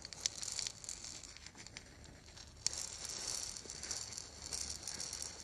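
A small, hollow, lacquered and painted wooden ball rattle is held in both hands and shaken. It gives a soft, dense, bright rattling patter. A sharper click lands near the middle of the clip.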